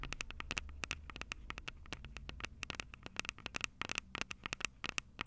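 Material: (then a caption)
Plastic, metal. Long purple acrylic nails tap rapidly on the two metal-grilled microphone capsules of a plastic-bodied Tascam DR-05 handheld recorder. About 35 sharp, dry clicks land in quick, uneven bursts; each is very short and bright, with a ringing tone near 2.6 kHz. A low rumble sits underneath during the first half.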